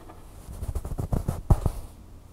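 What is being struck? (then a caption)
Stuffed plush toy, fabric. Long fingernails scratch the soft fabric on the back of a red plush bird toy. About seven quick, muffled strokes come in a row, with the loudest near the end. The sound is dull and low, with almost no bright edge, and each stroke stops quickly.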